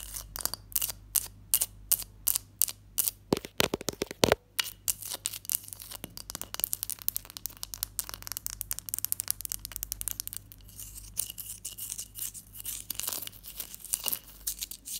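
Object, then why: Block of ice. A large solid ice block resting on a teal cloth is tapped and scratched by long nails and fingertips, and a ring on the hand may touch the ice. Sharp, bright clicks come first as separate taps, then give way to a dense, crackling run of quick scratches and taps with a faint low hum underneath.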